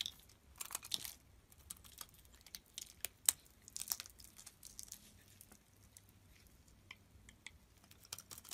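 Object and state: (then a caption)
Soap bar being carved. A utility knife blade shaves chunks off a solid oval pink soap bar held in the palm. The result is a quiet series of crisp, bright scraping and crunching cuts with very little low end, each dying away almost instantly. One sharper, louder snap stands out near the middle.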